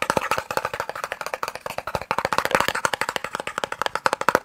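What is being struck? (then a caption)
Small cardboard box. A small, hollow, white and red cardboard eye drops box is tapped rapidly with the fingertips and nails. About 29 quick, dry, hollow taps are heard with a papery midrange knock around 530 Hz, almost no low end, and no ring after each hit.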